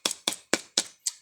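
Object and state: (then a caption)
Ripe durian, hollow-sounding. A ripe durian that has just fallen from a tall tree, its stalk still wet, is knocked by hand five times. Each knock gives a short, dry tap with a hollow tone, as though the fruit has an empty space inside. That hollow sound marks the durian as ripe.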